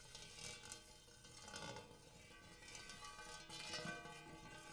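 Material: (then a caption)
Metal. Fingertips and nails tap the rim and dimpled interior of a large, shallow, empty gold hammered metal bowl. The soft taps set off bright metallic ringing with layered overtones centered around 1.5 kHz, and each tone lingers and overlaps into a continuous shimmering hum.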